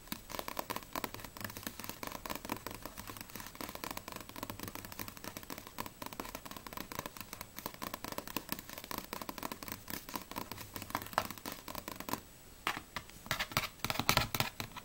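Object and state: Paperback manga book, paper page scratched.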